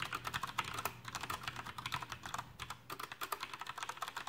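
Fingertips type steadily on a Coolermaster Masterkeys PRO M mechanical keyboard with black plastic keycaps and tactile Cherry MX brown switches. Rapid, sharp plastic clacks with short decay come in a quick uneven rhythm, centered in the low-mid range with a bright edge, and there is a brief lull near the middle before the typing picks back up.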